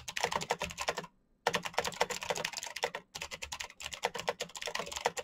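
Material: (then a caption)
Plastic. Fingertips type fast on a full-size black plastic Razer mechanical keyboard with clicky green switches and RGB backlight. Rapid, bright, sharp clicks with a mid-range body run in bursts, broken by a short silent pause near the one-second mark and a brief gap around three seconds. Each click stops almost at once, with no ring.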